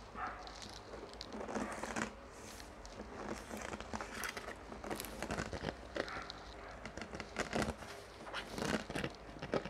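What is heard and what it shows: A large clear PET water bottle with a paper label, partly filled with water and hollow, is tapped rapidly with fingernails and squeezed. The thin plastic gives off dense crinkling and crackling with quick sharp taps. The sound is bright and close throughout.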